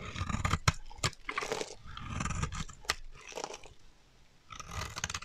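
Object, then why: Bar of soap cut with a metal blade. A metal utility knife blade carves and scrapes a solid, dry teal bar of soap held in the hand, cutting off chunky chips. Crunchy, gritty scraping strokes alternate with sharp crackling snaps and a low, rumbly body, with a brief quieter pause before a final burst of scraping.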